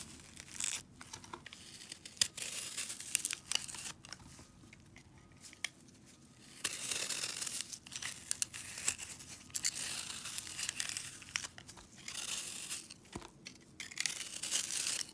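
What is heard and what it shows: A metal utility-knife blade scrapes and shaves along the surface of a palm-sized, solid, green frozen soapy foam sponge held in purple nitrile gloves. Bright, crackling, tearing strokes come in bursts of rapid scratchy grains, separated by quieter stretches. There is almost no low end.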